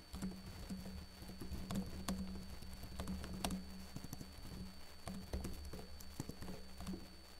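Fingertips with short blue-painted nails type on a backlit laptop keyboard with plastic keys. There is a quick, uneven patter of soft, muted key clicks, with a few sharper taps standing out over a steady low hum.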